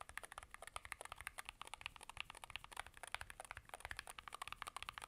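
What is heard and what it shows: Rapid typing with gloved fingertips of both hands on a 65% Varmilo Muse65 mechanical keyboard with a blue aluminum case, plastic keycaps and magnetic switches. Dense, quick, bright clacks with very short decay follow one another in a steady, slightly uneven rhythm, with little low-end weight.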